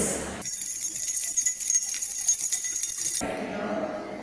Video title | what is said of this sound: Pre Primary Jr Sound | Right, that's the sound of a bunch of keys.